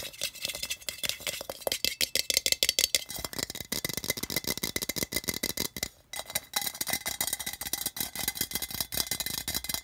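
Fingertips and nails rapidly tap and scratch the sides and rim of a hollow, apparently empty cylindrical metal tin with a colourful tile-pattern print, lying on a red carpet. The result is a dense stream of quick, bright metallic clicks and scrapes with almost no ring, mostly high in pitch with very little low end.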